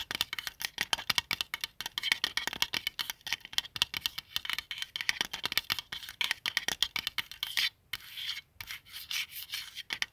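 Fingertips rub and scratch the printed face and cover of a palm-sized white plastic qibla compass disc resting on a blanket. The result is a dense, rapid stream of short, dry, bright scratching and tapping sounds with almost no low end. The stream breaks briefly near the end before a softer, steadier rubbing passage.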